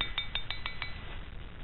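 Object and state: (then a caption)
Solid, ringing steel railroad track section. An old, half-buried, cut-off section of steel railroad track is tapped six times with a titanium ring, each tap giving a clear, high metallic ring over a low background rumble. The ringing tone marks the track section as solid steel that would make a good anvil.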